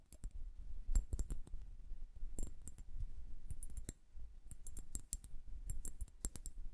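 Long nails tap quickly on the glass bulbs of a liquid-filled glass bubble hourglass held horizontally. The result is a rapid, irregular run of short, sharp clicks with bright, glassy ticks that stop almost instantly, over a steady low rumble.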